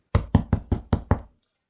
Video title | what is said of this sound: Bauern Sauerteigbrot selber backen 😋 so gelingt die knusprige Kruste garantiert! 🥖 #319 | vasta kun leipä kuulostaa ontolta, se on paistunut läpikotaisin